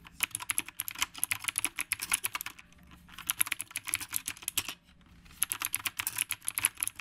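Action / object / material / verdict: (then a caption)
tap / mechanical keyboard with round plastic keycaps / plastic / none. Fingertips type continuously with both hands on a dark retro typewriter-style mechanical keyboard with round plastic keycaps. Rapid, bright, clicky keystrokes come in three bursts separated by brief, quieter pauses, and each click dies away almost instantly.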